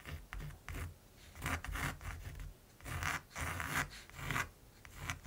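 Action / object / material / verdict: scrape / pencil on primed canvas / canvas / none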